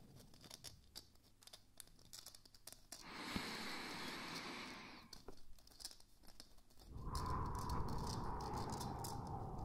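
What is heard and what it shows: A small glowing moon lamp, a hollow palm-sized plastic sphere that is likely 3D-printed, is held in both hands and tapped and scratched with fingertips and nails. Quick, light hollow taps are followed by a stretch of airy scratching, more scattered tapping, and then a louder, steady rubbing scratch with a faint ringing tone near 1 kHz.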